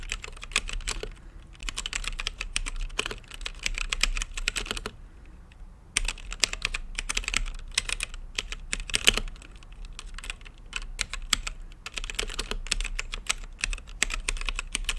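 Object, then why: Mechanical keyboard with plastic keycaps. Fingertips type on a mechanical keyboard with plastic keycaps and a translucent lit case. Rapid, bright plastic clicks sit over a low thump, in bursts with a brief pause near the five-second mark. Each keystroke clicks sharp and dry with almost no ring.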